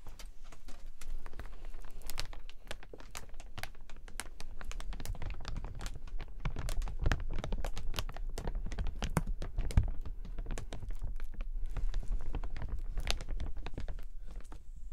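A large, open clear PVC umbrella canopy with a white handle and metal ribs is held close and crinkled with the fingertips. The result is a dense, continuous stream of sharp crinkling snaps and crackles at a steady level over a heavy low rumble.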